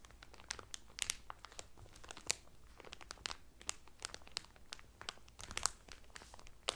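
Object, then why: Thin plastic cellophane wrap over a folded towel. Fingertips with medium painted nails press and crinkle the loose, thin clear cellophane sealed around a folded blue terry Carnival towel lying flat on a table. A quiet, steady stream of bright, dry crackles and crinkles comes through, with sharper snaps popping out now and then. Each crackle cuts off at once with no ring.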